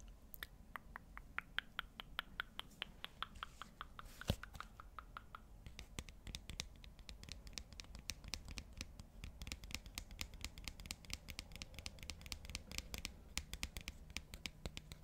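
A small, flat, black cardboard magnetic eyeshadow palette, hollow, thin and light, is held up by hand, opened to show four round pans (navy, purple, blue and green), and scratched with painted fingernails near the microphone. A quiet, rapid run of dry, crisp scratches and clicks continues throughout, each tick dying away almost instantly.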